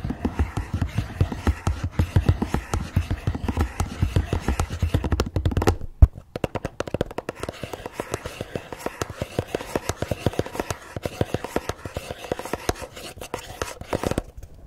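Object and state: Cardboard gift box.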